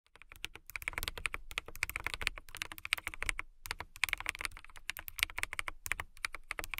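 Rapid typing on a full-size mechanical keyboard with a hollow, clear acrylic/plastic case, clear keycaps and RGB backlighting, struck with long manicured nails and fingertips. It makes a fast, steady stream of short, crisp clicky taps with a bright, hollow plastic tone centered around 2.2 kHz, plus a little low thump. Brief pauses break up the typing.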